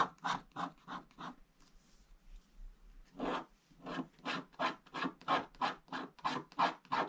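A wooden stick scratches the black wax coating off a flat scratch-art page with blue foil paper underneath, using vertical strokes. Quick, dry rasping strokes centered in the midrange with bright edges come in a fast run, fade to softer scrapes for a moment, then resume in a steady, rhythmic series.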